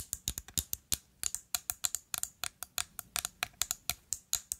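Long nails rapidly tap and scratch a rectangular, liquid-filled amber glass perfume bottle with a black cap. About 25 sharp, bright clicks come in a quick, uneven rhythm, each dying away almost instantly with a faint scratchy hiss between them.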